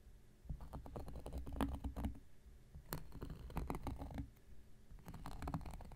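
An X-Acto knife blade scratches across a round, flat, solid cork coaster. It makes quick, dry scraping and ticking strokes in bursts with short pauses. The sound is soft and muffled, mostly low in tone, with only faint brightness.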